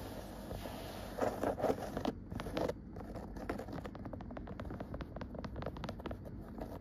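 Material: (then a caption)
Cotton. Long nails scratch and tap a cream woven cotton rug with dark dotted stripes. Louder bursts of dry, rough scratching come first, then a steady run of quick, light taps and soft scrapes over a faint background hiss.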